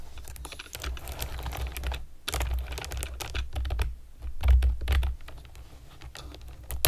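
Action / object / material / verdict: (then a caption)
tap / plastic keyboard with round keycaps / plastic / none. A pastel plastic keyboard with round keycaps is typed on with long nails and fingertips, producing rapid, bright clicking taps in quick bursts. A steady low hum sits beneath the keystrokes, and typing pauses briefly around two seconds before resuming.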